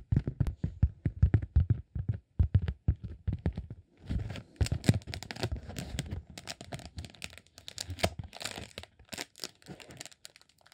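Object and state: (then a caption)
Beeswax sheet. A green honeycomb beeswax sheet is rolled up by hand and scratched and crinkled with the fingertips. For the first four seconds there are quick, dry, separate crackles. After that the sound turns into denser, continuous crinkling and tearing-like scratching with a bright, papery hiss over a low body.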